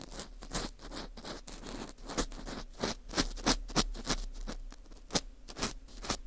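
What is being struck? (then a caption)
Dried wheat gluten fu ring. An orange plastic earpick scrapes inside the center hole of a dry, porous ring of dried wheat gluten fu. The result is a rapid, uneven run of dry, crackly scratches, each short with a bright, high hiss. Several sharper scrapes stand out over a steady low rumble.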